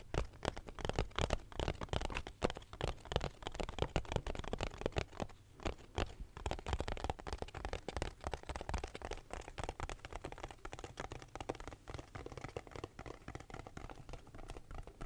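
A small hollow cardboard box, held close to the mic in both hands, is tapped and scratched with fingertips and nails. Rapid, dense taps give dull, low-heavy knocks with a dry scratchy crackle over them, each tap dying away almost at once. The tapping runs on without pause and grows slightly quieter and softer in the second half.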